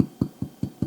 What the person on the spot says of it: they should sound a little hollow when you tap on them